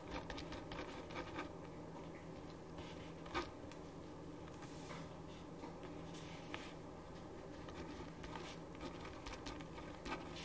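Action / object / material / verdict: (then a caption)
scrape / paper sheet written on with a ballpoint pen / paper / none. A black ballpoint pen writes on a printed paper sheet resting on a wooden desk, making a continuous soft scratching stroke with occasional brief, louder scrapes. A faint, steady low hum sits underneath throughout.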